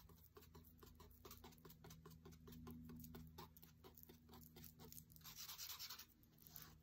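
A thin wooden skewer taps and scratches rapidly on the glossy paper page of an open cookbook, near the text on a page with a photo of drinks. Quiet, quick, crisp ticks follow one another over a steady low hum. Toward the end the taps give way to brighter, hissier scratching strokes.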